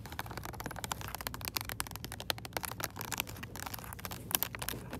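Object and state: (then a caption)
Plastic blister pack. A hand-sized retail blister pack, with a clear hollow plastic bubble over a white LED switch light on a cardboard backing card, is held in one hand. Long acrylic nails tap and scratch across its plastic front. Many quick, bright clicks and scrapes sound over a faint low background hum.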